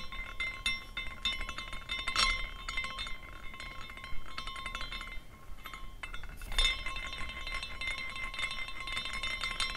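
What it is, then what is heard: Glass carousel ornament clinking. A small clear glass carousel ornament is spun by hand, and its hanging glass horses clink against each other as it rotates. The result is a steady, bright glassy tinkling with ringing tones near 1 kHz and 2 kHz, dipping briefly before a louder flurry of clinks near the end.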